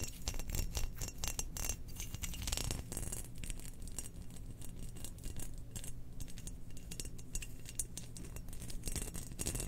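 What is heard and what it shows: Long nails scratch and tap a spherical, hollow, glazed cream ceramic Death Star cookie jar with a black pattern, lid on, held in hands. A dense, steady run of quick, dry scratches and sharp clicks fills the clip, each dying away almost instantly, with a bright crackling edge over a low, steady hum.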